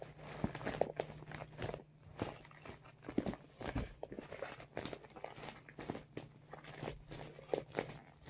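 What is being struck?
Soft vinyl makeup bag.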